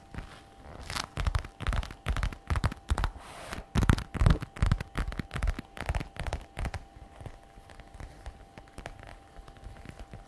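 Long red nails tap and scratch the glossy black-brown patent faux leather flap of a messenger bag resting on a table. Quick, irregular crackling taps and dry scratches come in uneven clusters, loudest through the middle and thinning out to softer, sparser ticks toward the end, with a faint steady tone underneath.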